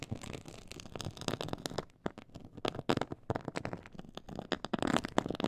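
Both hands scratch a black, glossy, quilted faux-leather textured board with long pointed acrylic nails. The result is a dense, continuous run of crackly scratching strokes, mostly in the low-mid range. Brief quieter pauses fall near two and three seconds.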